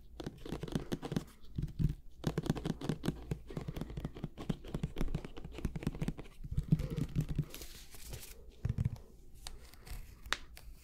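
Fingernails scratch the paper label of a medium white plastic glue bottle with an orange cap, held close to the mic with a mouth near the bottle. Dense, rapid bursts of dry, low-heavy scratching and crinkly, tearing-like rasps come in uneven clusters, with short quiet gaps between them.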